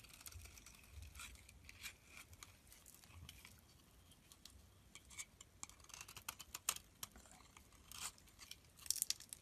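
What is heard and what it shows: A utility knife blade scrapes and shaves the surface of a solid pink soap bar held in the hand, producing flakes. Quiet, bright scraping strokes come in repeated short bursts, with crisp little crackles and ticks that die away almost at once.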